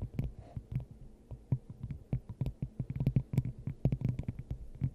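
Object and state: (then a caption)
Glass dome tapped with fingernails. Long acrylic nails tap and scratch a clear, hollow, hand-sized glass dome fitted over the top of a microphone. A rapid, uneven run of short taps mixes bright clicks with boomy, hollow low thumps, and each hit dies away almost at once.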